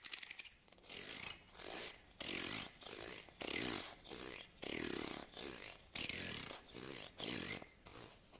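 A solid, medium wide-tooth wooden comb is held in both hands while fingernails strum and scratch along its teeth. The result is a steady series of short, bright, rasping scratches separated by brief pauses, with little low end.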